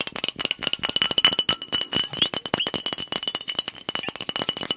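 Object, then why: Glass soda bottle with liquid inside. A fingernail taps quickly and hard on a glass soda bottle held sideways with liquid inside, giving about 29 sharp, bright clinks. Each tap rings high and dies away almost at once, with almost no low end.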